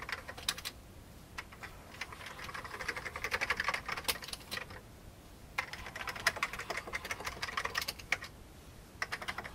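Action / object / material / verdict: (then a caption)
tap / plastic computer keyboard keys / plastic / none. A fingertip presses single keys on an old beige plastic computer keyboard, producing quick, bright clacking clicks with very short decay. The typing comes in irregular bursts separated by brief pauses, with little low-end body and a quiet overall level.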